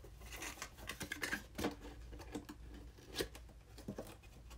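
A small, hollow, red printed cardboard box, the packaging for a game controller, is held upright in both hands and tapped with the fingertips. The taps are quick, dry and hollow, mixed with papery scratching and rustling. Each lands with a soft mid-pitched knock that dies away almost at once.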